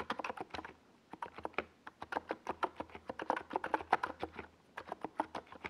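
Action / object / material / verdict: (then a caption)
tap / plastic mechanical keyboard keys / plastic / none. Fingertips of both hands type fast on a compact 68-key NiZ Plum Atom 68 mechanical keyboard with a white plastic case and purple and yellow Domikey Gas Attack SA plastic keycaps, resting on a desk pad. Around thirty quick, dry clacks with little bass land in uneven bursts, centered in the midrange near 780 Hz, each dying away almost instantly. There is a brief pause a little before the two-second mark.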